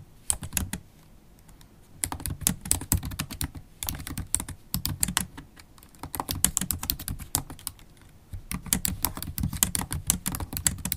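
Long holographic acrylic nails type continuously on a MacBook Pro keyboard with black plastic keycaps in an aluminium body. Quick, bright clicks come in dense bursts over a soft low thump, with brief quieter pauses between bursts of typing.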